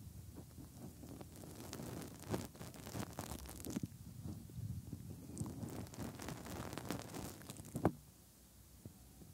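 Bare fingertips rub and press around the hand-sized, soft silicone ear shells of a 3Dio binaural microphone and into the openings of their hollow ear canals. The sound is close and muffled: dense low rumbling and rustling friction with brighter scraping streaks. A sharper press near the end is followed by quiet.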